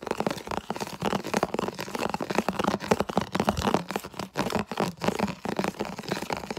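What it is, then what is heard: Plastic food container, tapped and scratched. Fingertips and nails quickly tap and scratch across a medium, hollow, empty, translucent red plastic food container held up close. The result is a dense, fast run of crunchy, crinkly scratches and sharp little taps that fill the mids, with short dry clicks and almost no ring.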